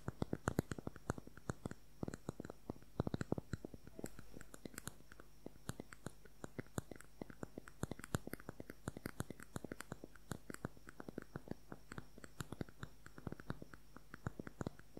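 Fingernails tap quickly along the length of a slim plastic concealer tube held horizontally. The result is a rapid, quiet stream of short, dry clicks with almost no ring, over a faint steady low hum.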